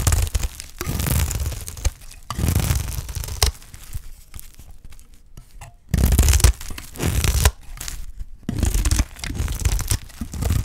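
A blade of a utility knife cuts along the edge of a solid, dry green olive soap bar, peeling it into layered curls and flakes. Long, crunchy, tearing scrapes come in repeated strokes, with a heavy low thud-like body beneath bright crackle, separated by quieter stretches of faint crumbling.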